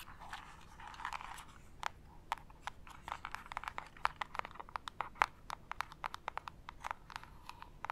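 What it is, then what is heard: Cardboard gift box tapped with nails. Long acrylic nail tips tap quickly on a small, hollow printed cardboard jewelry gift box with a white label, held in both hands. Dozens of short, dry, clicky taps land in an uneven rhythm, each with a hollow mid-range knock and a bright edge. A soft scratchy rustle runs underneath, heaviest in the opening second or so, and the overall level stays quiet.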